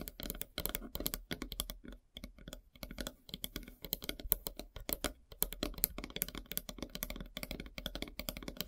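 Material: Wood.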